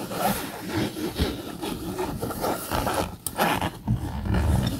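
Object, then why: Polyester fabric bag. Fingernails scratch the camouflage polyester fabric of a bag with a yellow zipper, held upright. The result is a continuous, rough rasping scrape that swells and dips in waves, with a low, rumbling weight and only a little high hiss.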